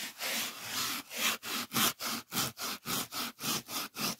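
Fingertips rub a solid white polyethylene packing foam sheet back and forth. Bright, hissy, scratchy strokes begin with a long smooth pass, then settle into a quick, fairly steady rhythm of short swipes separated by brief silences.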